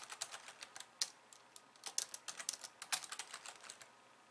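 Long glossy nails type with both hands on a slim pink plastic keyboard with white keys. About twenty-two quick, bright key taps come in an uneven run, each a crisp, dry click that dies away almost instantly. The sound is quiet and high with no low end.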